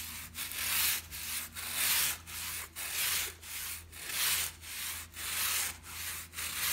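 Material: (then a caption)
Fabric. A small white plastic bristle brush is rubbed and scratched quickly across a brown and black patterned shag pile fabric rug. Each stroke makes a bright, hissing scrape, repeated in a steady back-and-forth rhythm with short dips between strokes.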